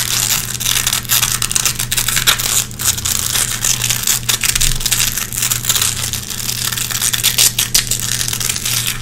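Long red-painted fingernails pick and scratch lint from the hooks of a small gray nylon velcro hook patch. The sound is a dense run of bright, crackly rasps and scritches over about nine seconds, with a steady low hum beneath.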